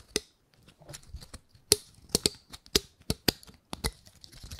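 A gold-painted pine cone is held over a microphone while long nails scratch across its scales, giving about ten short, dry, bright scratchy clicks with a faint ringing tone. The clicks come at an irregular pace, with soft rustling between them.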